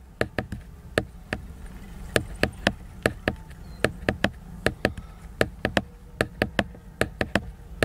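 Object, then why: Laminated cardboard hardcover book. Fingertips tap and knock on the cover of a large, solid, flat hardcover book made of glossy laminated cardboard. About 25 short, dry, hollow taps land in an uneven rhythm, each a sharp click that dies away almost instantly. A steady low rumble sits underneath.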